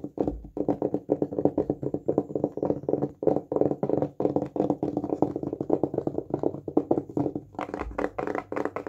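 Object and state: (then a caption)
Solid wooden disc, fingertip tapping. A small, solid, round flat wooden disc held in the hands is tapped quickly with fingertips and nails. The result is a rapid, uneven stream of dry, woody knocks with a mid-low tone around 300 Hz and almost no ring. Brighter, sharper clicks come through near the end.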